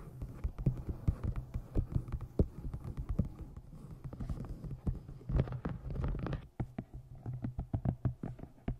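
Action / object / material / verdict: tap / hardcover book / cardboard / none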